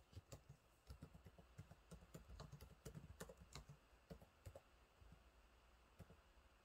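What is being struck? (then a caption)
Plastic laptop keyboard. Fingertips type on the low-profile plastic keys of a silver laptop keyboard, producing quiet, irregular taps and clicks over steady low background noise. The taps come in uneven bursts, each with a short, dull thud and a faint bright click that fade quickly.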